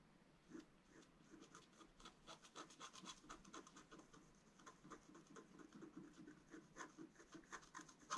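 A wooden stylus scratches across the upper area of a thin, flat, black wax-coated scratch-art card. The result is a quiet, rapid series of short, dry scratching strokes with a gritty, rasping texture and a bright, high hiss.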